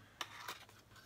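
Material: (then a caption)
Paper card. A small card case holding a playing card, the queen of diamonds that vanished from a handcuffed deck as part of a card trick, is shaken. This produces a few quiet, dry, bright rattles and ticks of the card knocking inside the case. The sound is soft, high-pitched and short, and fades quickly.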